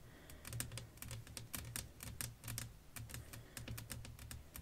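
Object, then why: Flat glass pane. Long nails tap rapidly across a flat, clear glass sheet laid over lace fabric, making a quick run of short, bright clicks that die away almost instantly. A steady low hum sits beneath the tapping throughout.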